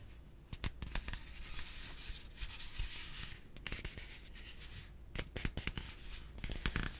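A yellow hollow plastic piggy bank with a heart decal is held in both hands and rubbed and tapped with the fingertips. A soft, continuous rubbing and scratching texture runs throughout, broken by sharp, bright taps that cluster near the middle and end. Each tap dies away almost instantly.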